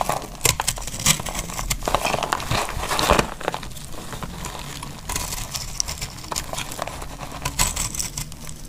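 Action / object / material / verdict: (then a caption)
scrape / laundry soap bar cut with a knife / soap / none. A solid tan bar of dry laundry soap is held in the hand and shaved into curls with a metal utility knife blade. The blade makes dense, crisp scraping and cutting sounds with a dry, crinkly, bright texture. The strokes are louder and fuller for the first three seconds, then continue more softly.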